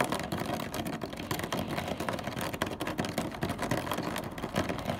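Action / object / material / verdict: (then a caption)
tap / plastic car front grille / plastic / none. Fingertips and nails of both hands tap and scratch rapidly across the black honeycomb plastic grille on the front of a car, a rigid hollow panel. The result is a dense, continuous stream of quick hollow plastic clicks and raspy scrapes, with a mid-range tone near 720 Hz over a steady rumbling undertone.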